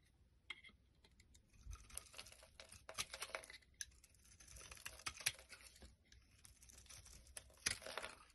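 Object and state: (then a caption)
Bar soap being carved. A palm-sized solid white Palmolive soap bar, held in the hand, is scraped and carved with a black-handled blade, shaving pieces off it. The clip is a run of quiet, dry, bright scraping and crackling strokes with sharp ticks, which swell and fade across the clip with brief pauses between passes.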